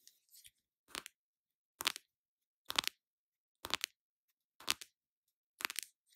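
Long nails tap and scratch a small, flat, hollow pink cardboard blush box. After faint scrapes at the start, six distinct bursts of dry, bright, crackly tapping and scratching come at roughly one-second intervals. Each burst ends quickly with no ring.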